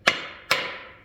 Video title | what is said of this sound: INSTALLING CAM BEARINGS, CAM, ROD BEARINGS AND CRANK IN CHEVY LS ENGINE! | You'll hear that tone change. There it is.